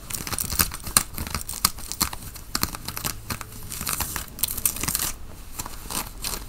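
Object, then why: Cotton fleece sweatshirt. Fingernails on both hands scratch the chest of a worn grey Nike cotton fleece sweatshirt. The result is a dense, irregular run of bright, raspy scratching and crinkly tearing sounds with quick strokes and no ring.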